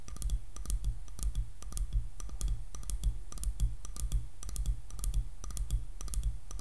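Long nails tap rapidly on the back of a light, solid wooden hairbrush. The sound is a quick, uneven stream of crisp, dry clicks with bright, high ticks over a soft low knock, each tap dying away almost instantly.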